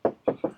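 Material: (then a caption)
Body filler. Three knocks on a minivan body panel patched with thick body filler give dull, short, plastic-like thuds instead of a tinny metal ring. The dead sound marks a panel that was bent or hit in a collision and filled thickly.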